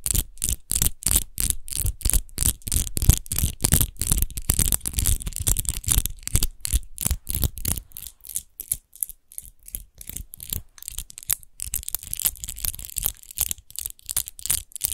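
Long nails scratch fast across the embossed rose-textured base of an empty, hollow clear glass wine bottle. The result is a quick, uneven run of short, dry raspy strokes, with a bright scratchy hiss over a low, hollow thump. The strokes have almost no ring between them.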